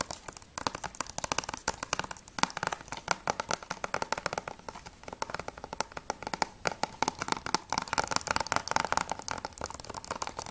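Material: Plastic.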